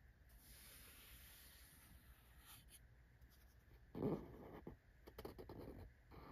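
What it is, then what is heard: Cardboard box. A small closed corrugated cardboard box printed with a Well.ca logo is held in one hand while a fingertip with a short nail scratches and taps across its printed top face. Soft, dry scratching runs through the clip, with a louder burst of scraping and taps near the end.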